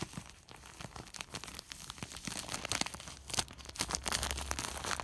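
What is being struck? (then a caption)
Woven plastic sack. Fingers scratch and rub a large white woven polypropylene sack, then pinch and crinkle it. The result is a dense run of bright, crackly rustling and crunching with quick, sharp transients that grows louder and busier toward the end.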